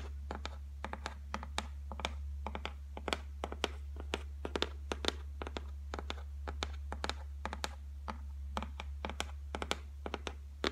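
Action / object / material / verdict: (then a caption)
tap / laminated particleboard shelf / laminate / none. Long nails tap rapidly on the flat top of a solid white laminated shelf board. Each tap is a short, sharp, bright click that dies away almost instantly, coming in quick irregular bursts. A steady low hum runs underneath throughout.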